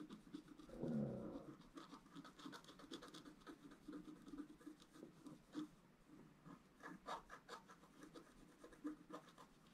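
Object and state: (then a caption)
Scratch art card being scratched. A wooden stylus scratches the lower tree area of a flat scratch art paper card, making quiet, dry scraping strokes. The strokes come as a run of short rasps, with a louder, fuller scrape near the start.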